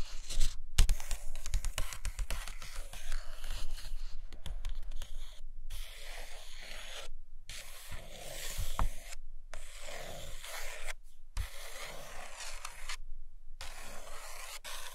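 Long acrylic nails scratch and trace across the paper pages of an open hardcover book resting on a carpet. A dry, papery scratching and rubbing continues in uneven strokes with frequent short gaps, full of bright hiss and soft low thumps.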